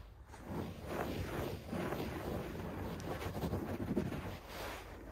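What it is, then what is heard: Shag carpet. Fingertips scratch and rub fast and aggressively at a beige shag carpet on the floor. The result is a continuous, dense rustling and scratching, mostly low and muffled with little brightness, swelling in repeated strokes for about five seconds.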